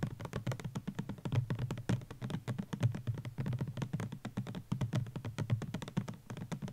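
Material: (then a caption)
Plastic. Fingertips and nails tap quickly on a white plastic Garnier Ambre Solaire sunscreen bottle (200 ml) with an orange cap, standing on a blanket; the bottle is hollow and likely filled. The result is a rapid, continuous stream of short, dull, low thuds with a hollow body tone and almost no bright edge.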